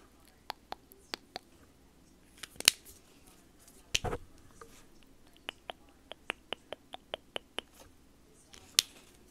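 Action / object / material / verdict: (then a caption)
tap / small hollow plastic marker / plastic / none. A small, hollow white plastic Sharpie S-Note highlighter marker with a teal cap is tapped with long nails and fingertips. It gives a series of sharp, dry, high-pitched clicks with almost no ring, spaced irregularly with a few louder taps, over faint background noise.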